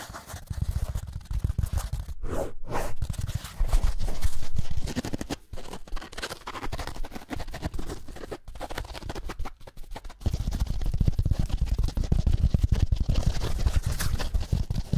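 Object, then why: Foam kitchen sponge with scouring pad. Fingernails rapidly scratch and tap along the foam and green scouring layer of a small, solid, dry yellow foam kitchen sponge held near the microphones. The result is a dense, fast stream of rough scrapes and soft taps with a heavy low rumble and crackly bright texture. Brief lulls around 5.5 and 10 seconds are followed by louder, steadier scratching.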